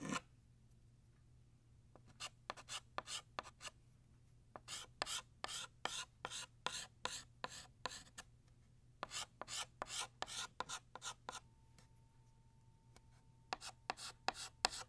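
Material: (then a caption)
Chalk. Blue chalk draws quick writing strokes across a flat black chalkboard as it retraces the left tail of a ribbon. About 26 short, dry, bright scratching rasps come in an irregular rapid series, with brief pauses between bursts. A faint steady low hum runs underneath, and the strokes are quiet and leave no ring.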